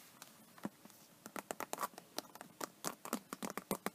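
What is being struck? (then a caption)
Embossed vinyl tablet case. Long painted nails scratch across the raised scale texture of an iridescent, embossed faux snakeskin vinyl iPad case. It comes through as a quiet, rapid series of about twenty short, dry, crisp scratches and ticks, bright and broadband with little low end. Each stroke dies away almost instantly.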